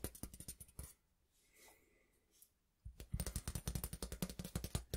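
A long, flat, thin stainless steel ruler is held at an angle and tapped and scratched along its length with fingertips and nails, and it may flex. Rapid, close, bright clicking taps come for about a second, then a near-silent stretch with faint scraping, before dense tapping resumes for the last two seconds.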